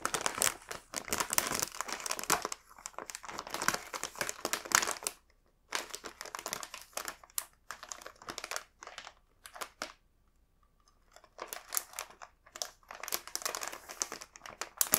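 A full, green printed plastic bag of melon pan buns is held in both hands while fingertips squeeze and rub its crinkly film. Dense, bright crinkling and crackling come in bursts, with brief quiet pauses around 5 and 10 seconds before the rustling resumes.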